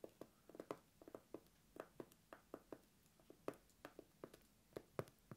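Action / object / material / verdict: tap / cork coaster / cork / none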